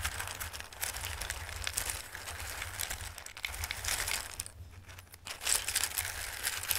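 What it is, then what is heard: Raw dried pasta shapes. Fingers with long red nails rub and shuffle raw dried pasta shapes in a full bowl. The result is a steady stream of crisp, bright rustling and clicking, with a low hum underneath throughout. The sound dips briefly near the end, then returns louder.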